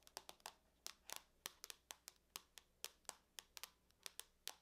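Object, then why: Aluminum laptop lid tapped with fingernails. Long nails tap and scratch across the lid of a closed silver aluminum laptop. About nineteen quick, dry clicks sound at an irregular pace, each sharp and bright with almost no low end and no ring. Faint scratchy traces trail between them at a quiet level.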